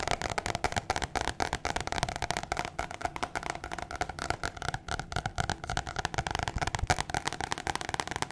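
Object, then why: Thin paper card. A thin white paper or cardstock card, a flat sheet about postcard size, is held in one hand and rapidly tapped and scratched with long painted fingernails. The result is a dense stream of quick, sharp, crackly taps and papery scratches with a steady mid-range tone and very short ring.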